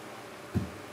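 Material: Nothing is struck.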